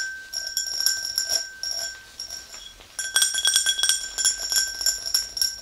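Long green nails tap both sides of an empty, hollow, tall clear glass tumbler. Quick, irregular bright clinks ring briefly over a sustained high glassy tone near 1.5 kHz. The tapping starts sparse and soft, then turns denser and louder after about three seconds, with sharper pings around 3.3 kHz.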